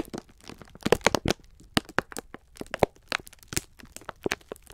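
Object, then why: Pack of sponge scourers in thin plastic film. A palm-sized multi-pack of green-striped 3M sponge scourers, sealed in thin clear plastic film and soft and full, is squeezed and rubbed by fingertips of both bare hands. The crinkly wrapper gives a rapid run of sharp crackles and crunches with bright, dry edges and almost no ring, standing over a faint low rustle.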